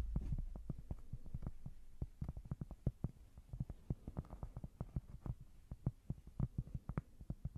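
A small, thin, solid square cork board is held close to the mic while long nails scratch and tap on it. A scratchy, rumbling opening gives way to a rapid, uneven stream of soft, dull taps. The taps are low and thuddy and die away almost instantly.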